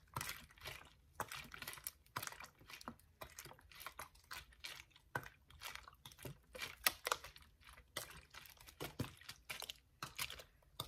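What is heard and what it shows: A hollow, clear ridged plastic water bottle is held in one hand while the fingers squeeze, crinkle and scratch the plastic as it is moved. The result is a quiet, steady run of short, bright crackling crinkles and scratchy snaps with very little low end, each burst dying away almost at once.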